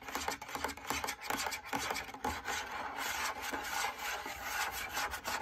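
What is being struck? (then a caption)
Fabric drum lampshade. Fingernails scratch a large, lit, hollow cylindrical fabric drum lampshade from the inside and along its lower edge. Quick, raspy scratching strokes come one after another in a dry, bright rustle with a mid-pitched tone and almost no low end.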